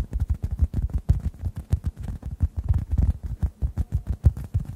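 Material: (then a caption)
Foam. A hand-sized, rounded oblong orange synthetic foam sponge, solid and porous and dry, is held above two microphones and tapped with fingertips. It gives a rapid, slightly uneven run of soft, muffled low thumps with almost no bright content. Each tap dies away almost instantly.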